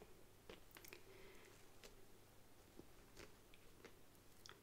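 Fingertips and long nails tap and handle the sides and top of a medium, hollow, black structured faux leather handbag with a gold print and gold clasp. Quiet, scattered, sharp clicks and soft crunchy taps sit over a steady low hum, with a brief rustle of handling between them. Each tap dies away quickly.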